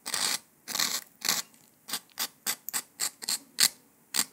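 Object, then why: Honeycomb sugar candy. Latex-gloved fingers snap small pieces off the edge of a thin, brittle, palm-sized piece of porous brown dalgona honeycomb sugar candy with an airy honeycomb interior, while other candy pieces lie on the table. About a dozen short, separate, bright crackling snaps are heard, the first few longer and more crumbly, the later ones quick and crisp, each dying away almost at once.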